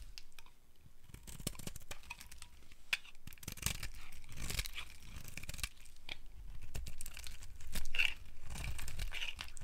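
A metal blade carves and scrapes a solid, palm-sized pink dry soap bar, shaving thin curls that fall onto a pile of pink and yellow shavings. Dry, crisp scraping and crumbly crackling run in uneven strokes throughout, with a brief louder, brighter scrape near the end.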